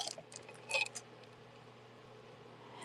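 Glass tube beads on a piece of jewelry clink together in a quick cluster of bright, high-pitched ticks, the loudest near the middle, then fade into a quiet low hum. The beads are confirmed to be glass.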